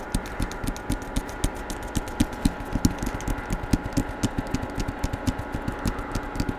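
Fingertips and nails tap and scratch the paper-covered cardboard cover of a hardcover Star Wars book held upright in front of the microphone. Quick, irregular taps come at about four per second, each a short, dull, low thud with a bright click from the nails on top. A faint, steady hum sits underneath throughout.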